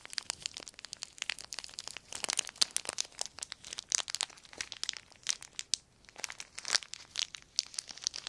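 A small crumpled sheet of clear plastic film is crinkled and squeezed between the fingertips. It gives a dense, steady stream of sharp, bright crackles and snaps with almost no low end, each dying away instantly. The crackling runs unbroken for about eight seconds.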